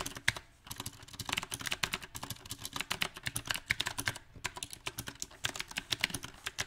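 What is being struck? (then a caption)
Mechanical keyboard with round plastic keycaps on a metal frame. Fast fingertip typing on a mechanical keyboard with round plastic typewriter-style keycaps on a silver metal frame. Rapid bright, sharp key taps come in uneven bursts, with short pauses near the start and around the middle. Each click dies away almost instantly.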